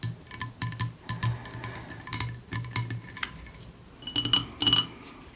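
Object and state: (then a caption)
Ceramic cup. A ceramic noodle-shaped cup with a lid, received as a gift, is tapped in a quick run of light clinks. The bright, high-pitched taps ring only briefly. Its ring sits over a faint low hum.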